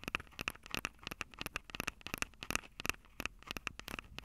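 Long acrylic nails tap and scratch the metal mic grilles over the capsules of a Tascam DR-05 handheld recorder with a plastic body. About two dozen sharp, dry clicks fall in an irregular run, each with a bright, tinny ring near 2.6 kHz that dies away almost instantly. Faint scratchy rustle fills the gaps, with little low end.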